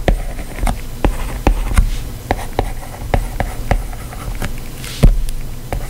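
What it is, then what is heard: Glass tablet touchscreen. A plastic stylus tip taps and scratches across the glass touchscreen of a white iPad as a hand writes text. Short, sharp clicks arrive at an uneven pace between soft scraping strokes. A steady low hum runs underneath.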